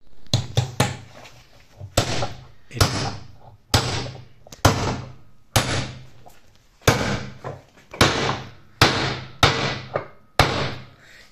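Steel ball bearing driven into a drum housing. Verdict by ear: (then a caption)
Seated. A 6205 steel ball bearing (25 mm bore, 52 mm outside diameter, 15 mm wide) is tapped into its housing with a hammer. The result is a series of sharp, short knocks, each with a low thud and a bright click that dies away quickly. The tight, gap-free sound shows the bearing is fully seated.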